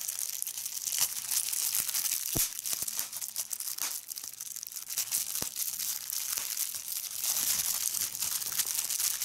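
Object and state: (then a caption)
Plastic bubble wrap being squeezed. A clear plastic bubble wrap sheet gathered in hand is squeezed with fingertips and nails, popping bubbles and crinkling the film. Steady, bright crinkling runs throughout, broken by many sharp, quick pops, with almost no low end.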